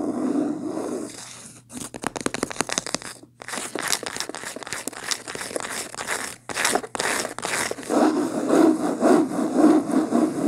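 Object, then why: Cloth-bound hardcover book. Long painted nails quickly scratch and tap the beige linen-textured cloth cover of a medium, solid hardcover book lying closed on a table. Dry, papery scrapes and crisp taps come in rapid, fairly steady bursts with bright crackle. Softer, warmer rubbing opens and closes the clip.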